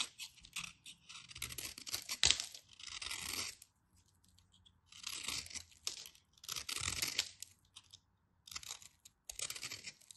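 A craft knife shaves and scrapes the edges of a solid white bar of soap into crumbly flakes. Bursts of crisp, bright scraping and crunching alternate with short silent pauses, with almost no low end.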